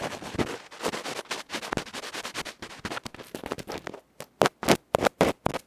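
A small uncovered cylindrical metal electret microphone capsule with a dark felt front is held in the fingertips and scratched across its felt face with a bamboo ear pick, so the sound is extremely close and loud. Rapid, dense, crackling scrapes run for about four seconds, then after a brief near-silence come louder, separate rough strokes. Each scrape is dry and broadband with no ring.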